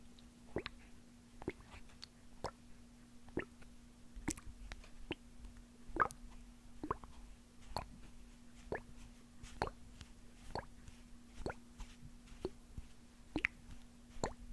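A small hollow white plastic eye drop bottle with a white cap and printed label, partly filled with liquid, is held in the fingers in front of the microphone and shaken and tapped with fingertips and nails. Soft, short taps and plops repeat at an uneven pace, with faint liquid sloshing and plastic squish sounds over a steady low hum.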